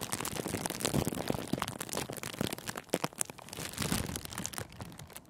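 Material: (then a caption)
Cellophane. Fingertips press and crinkle a thin sheet of clear cellophane gift wrap wrapped around a microphone windscreen. The result is a dense run of sharp, bright crackles and crinkles with some low thumps, fading slightly toward the end.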